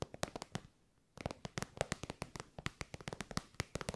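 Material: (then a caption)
Faux leather. Long white nails tap and scratch an elongated, shiny pink metallic faux-leather pouch that is soft and hollow. About two dozen sharp, dry clicking taps come in quick, uneven bursts, each dying away almost instantly, with a brief silent pause early on before the tapping resumes.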